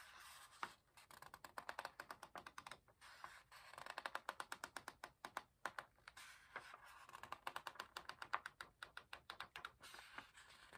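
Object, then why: Paper pages of a hardcover book. In an open hardcover book, fingertips rub and flick a raised paper page while turning it. The result is a quiet, rapid run of dry, crisp ticks and soft scratches over a faint papery hiss, with almost no low end and energy centered around 1 kHz. The sound comes in bursts across the clip, with brief pauses between them.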